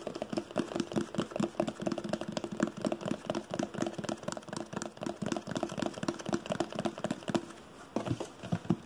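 Fingertips tap and nails scratch across the top and sides of a hollow red printed cardboard box marked "ONE," held close to the microphone. A quick, steady run of short, dull, hollow taps with a low-mid body is mixed with dry scratchy rustling. The taps ease briefly near the end, then return.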